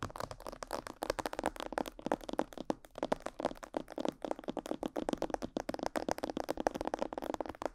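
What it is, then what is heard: Plastic mannequin head. Long yellow nails tap and scratch near the ears and on top of a life-size, glossy black plastic mannequin head that is likely hollow. The result is a dense run of quick, dry plastic clicks and scratchy taps, centered in the midrange, with almost no low end and no ring after each hit.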